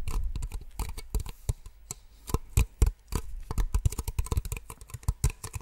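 Two identical small empty white plastic cups, held close to the microphone, are tapped with long nails in a rapid, irregular series of short clicking taps. Each tap is dry and close, with a soft low thump under a brief bright click, and dies away almost at once.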